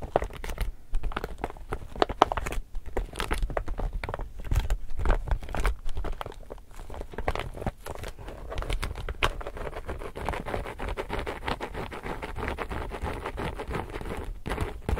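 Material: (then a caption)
Polypropylene. Long nails and fingertips tap and scratch the surface of a medium, glossy, laminated woven polypropylene reusable shopping tote bag with an illustrated print, held flat in both hands while hollow and empty. The sound is a dense, continuous run of dry crinkly taps, crackles and scratchy rustles over soft low thumps from the bag's body. Each contact is short and dies away instantly.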